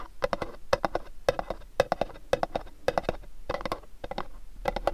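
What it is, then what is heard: Cardboard gift box. Fingernails tap and scratch the faces of a pink cube-shaped cardboard gift box. The result is a rapid run of short, dry, hollow clicks in quick bursts, with a mid-range tone around 535 Hz and almost no ring after each hit.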